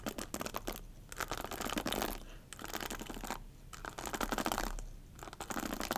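Long nails scratch and tap along the rows of bristles and the plastic handle of a black hairbrush held by its handle. Dense, crackly scratching comes in bursts separated by quieter lulls, with quick taps mixed in and a bright, rustling texture.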